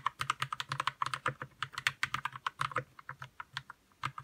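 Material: Plastic.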